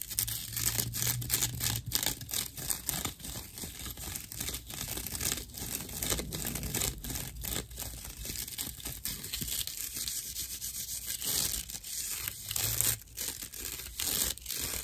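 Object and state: Natural loofah sponge.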